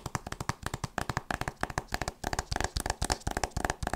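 A solid hardcover book with a printed board cover is held upright and tapped and scratched with long nails and fingertips. About 25 quick, dry taps come in an uneven, rapid rhythm, each a short low thump with a bright clicky edge that dies away almost at once, with faint scratching between them.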